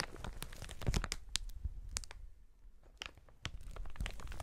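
A clear inflated plastic air-cushion packaging strip with hollow air cells is squeezed and crumpled by gloved hands. Dense crinkling and sharp crackling snaps come in quick bursts over a low rustling rumble, with a brief quieter lull midway before the crinkling picks up again.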